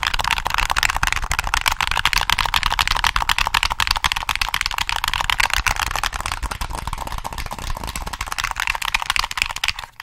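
A black hollow plastic PS3 game controller is held in both hands and turned to show its back while fingertips tap the shell and press the triggers. The result is rapid, uneven, bright clicky tapping, about four per second, with a hollow plastic tone. The tapping continues steadily and then fades out at the very end.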